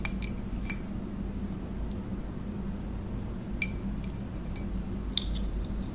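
Long acrylic nails tap the outer wall of a hollow white ceramic coffee mug held in both hands, making a few sharp, bright clicks that die away almost instantly over a steady low hum.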